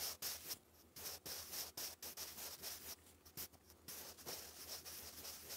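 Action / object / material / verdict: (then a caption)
scrape / graphite pencil on thick lined cardstock paper / paper / none. A sharpened wooden graphite pencil writes English cursive across a thick sheet of grey lined cardstock paper lying flat. Bright, dry scratching strokes come in quick bursts separated by short pauses, over a faint, steady low hum.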